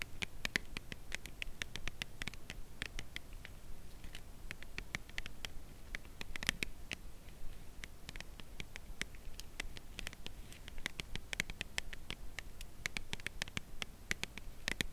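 A white Lindt Creation Crème Brûlée cardboard box holding a chocolate bar is tapped and scratched on its edge with long acrylic nails. Quick, dry clicks with bright, high snaps repeat steadily over a low, soft rustling bed, each tap dying away at once.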